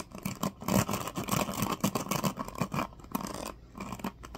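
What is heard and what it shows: Fingertips and nails strum and scratch across the teal-tipped plastic pins of a small black plastic paddle hairbrush. The result is a continuous run of quick, dry plucking and scratchy rasps with a low body and bright edges. Brief quiet gaps break up the sound.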